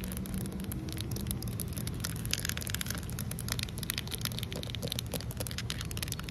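Fingertips rub and nails scratch across flat, solid outdoor concrete pavement, giving a steady, sanding-like gritty texture. Dense bright crackles and scrapes ride over a constant low rumble for the whole clip, with no pauses.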